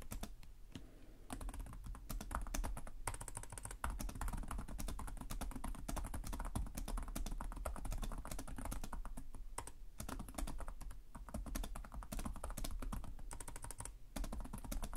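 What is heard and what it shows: Fingertips type steadily on the plastic keys of a black laptop keyboard, making a rapid, dense run of soft clicks and clatter. The clicks carry a low, thumpy body beneath their crisp edges, with brief lulls near the start and just before the end.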